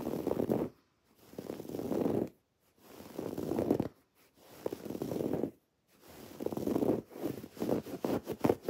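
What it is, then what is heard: Woven fabric pillow being scratched. Long, dark-painted nails on spread fingers scratch across a soft, stuffed teal woven-fabric throw pillow with raised white cord lettering. The result is a soft, low-mid, rustling scratch in five bursts separated by brief silences. The final burst breaks into quicker, choppier strokes.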